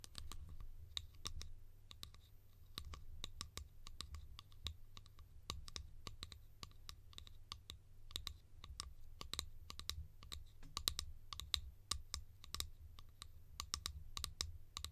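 A yellow hollow plastic cap held in the hands is tapped rapidly with long painted nails, producing many short, bright clicks that stop almost instantly. A steady low hum sits underneath throughout.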